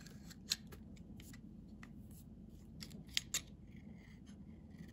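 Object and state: Bar of soap being shaved.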